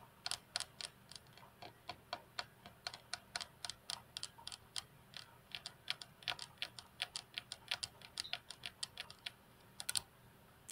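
Long natural fingernails of both hands tap across the flat, solid glass tabletop of a computer desk. About 45 quick, sharp clicks follow one another in an uneven, rapid rhythm, each bright and high with almost no ring, over a quiet background.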